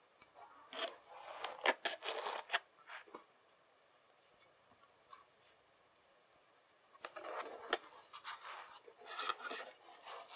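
A flat rectangular slab of kinetic sand is patted and pressed by palm and fingers, its edges pushed in by both hands. Soft, dry crunching and gritty rubbing sounds come in two busy bursts separated by a quiet pause, with brief sharper taps standing out.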